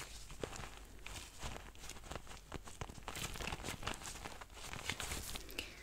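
Nitrile-gloved fingertips rub and press a small, soft-sided lilac faux-leather zippered pencil case. The result is a steady run of quiet crinkling, squeaky rustles and soft scratchy bursts, with brief bright clicks and a low, dull rumble underneath.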